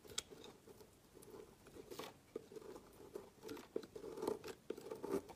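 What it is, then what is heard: Bar of soap being shaved. A dark metal knife blade shaves thin slices off the end of a solid orange-and-white bar of soap held by a hand over a woven mat. Quiet, dry scraping and crisp cutting strokes sound with a low-mid tone, each ending quickly as the soap curls off into flakes.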